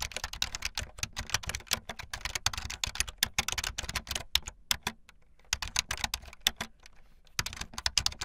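Fast typing on a full-size, backlit plastic Bluetooth membrane keyboard with white and blue plastic keycaps and a hollow plastic body, the keys pressed with fingertips and the tips of long painted nails. Bright, dry clacks and taps run in quick bursts, with brief quieter pauses near the middle and again shortly before the end.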